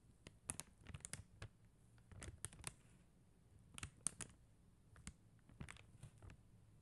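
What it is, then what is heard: Plastic rhinestone sticker sheet. Long acrylic nails tap quickly on a flat sheet of faceted plastic rhinestone gem stickers. Sharp, bright little clicks come in uneven bursts, each snapping off instantly, over a quiet low hum.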